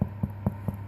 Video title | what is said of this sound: How to make: Easy Cheese and Herbs Pull Apart Bread | give it a tap in the bottom if you can hear that hollow sound